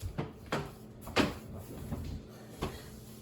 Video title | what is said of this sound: Cooking from the pantry- English muffin bread | tap on it to see if it sounds Hollow so that's the sound you're looking for